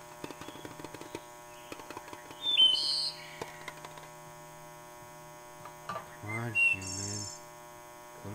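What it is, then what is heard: Tapped metal can. A metal can is tapped in quick, light, irregular taps with a short ringing tone. A steady electrical hum runs underneath. There are a few bright chirping tones partway through, and a brief low vocal sound near the end.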